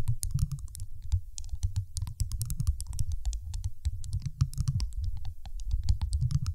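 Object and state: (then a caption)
Glass marble tapped with fingernails. A large, solid, dark teal glass marble, about fist-sized, rests on top of a microphone and is tapped rapidly with the long acrylic nails of both hands. The taps come as a dense, fast patter of short, bright clicks over a deep, thumping low rumble that carries through the microphone. The sound stays steady throughout, with no pauses.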